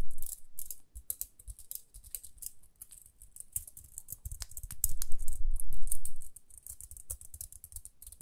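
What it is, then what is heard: Plastic round hair brush. Long nails scratch and flick the toothed rim and dark center bristles of a small round pink plastic hair brush held in both hands. Quick, irregular clicky taps and scratchy strokes give a bright crackle over soft low thumps. A denser, louder burst of scratching comes near the middle before the taps ease back.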